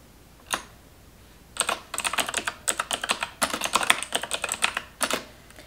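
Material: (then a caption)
Plastic. Long white nails type on the keys of a black plastic computer keyboard. A single sharp tap is followed by a short pause, then a quick run of about two dozen crisp, bright clicks with very short decay and almost no low end.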